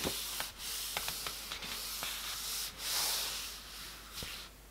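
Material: Paper.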